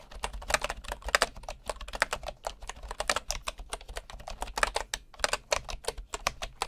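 A right hand types with its fingertips on the wooden keys of a bamboo keyboard, heard close up from low at the side. A rapid, uneven stream of short, dry clicks and taps sounds, each bright and quickly damped, over a faint steady low hum.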